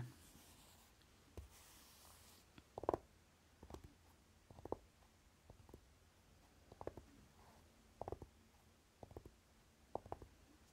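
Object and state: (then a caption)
Velvet-flocked tin eyeshadow palette. Fingertips and short nails tap across the lid of a flat rectangular Urban Decay Naked eyeshadow palette, a hollow dark velvet-flocked metal tin lying on cloth. A quiet, uneven series of soft, muffled taps and clustered nail clicks sounds, each dull and short with almost no ring against a faint hiss.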